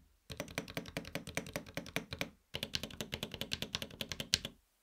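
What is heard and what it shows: Fingertips of both hands type on a LUMINKEY Magger68 Pro HE 65% mechanical gaming keyboard with a silver aluminum case and grey and red PBT keycaps. About 37 quick, bright, clicky keystrokes come in two steady bursts split by a brief pause, each with a short, tight decay.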